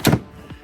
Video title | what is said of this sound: CF MOTO UFORCE 1000 - Could this be a good Bug Out Vehicle Alternative? | it actually sounds solid you get a nice solid thud